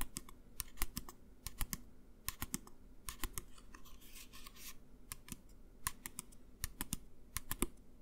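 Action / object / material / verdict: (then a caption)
tap / plastic pump bottle of hand gel / plastic / none. A medium, clear plastic pump bottle of hand gel, hollow and partly filled with clear gel, is held upright in both hands and tapped with the fingertips and fingernails. Sharp, bright clicks with short dull thuds beneath them come in uneven bursts, and each tap dies away almost at once. Partway through, a brief soft scratchy rustle is heard.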